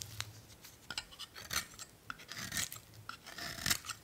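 An old solid blue bar of "Spring" soap, held in one hand, is shaved with a metal utility blade, peeling off thin curls. A quick series of short, bright, dry scraping and rasping strokes follows, each one crisp and quickly gone.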